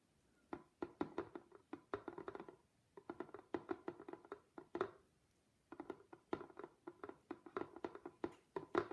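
Long pink nails on hands in shiny black gloves tap and scratch a medium, flat, hollow cardboard box wrapped in yellow patterned paper with a black ribbon bow. About forty quick, dry taps come in three bursts separated by short pauses. Each tap gives a hollow, mid-pitched knock that dies away almost at once.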